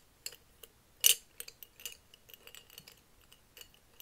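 A hand-sized, hollow, clear glass mason jar full of plastic felt-tip markers is held and tilted in both hands and shaken, so the markers rattle against the glass while fingertips grip and tap the jar. Sparse, bright, very short clinks and ticks scatter across the clip, with one louder clink near the one-second mark. Each one dies away almost instantly.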